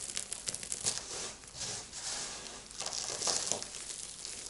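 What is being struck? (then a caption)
Pile of soap shavings and small soap chunks. Two hands with long lilac nails crush handfuls of a dry heap of crumbled soap shavings, flakes and small chunks on a white surface, scoop them up, then press and rub the pile flat with fingers and nails. The result is a bright, dry crinkling and crunching with quick crackly bursts and almost no low end.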